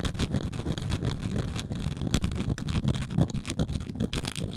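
Long nails scratch across a round, flat engraved wooden coaster held in the hand. The result is a dense, continuous rasping with many quick bursts, heavy in low-frequency rumble and with brief bright scrapes.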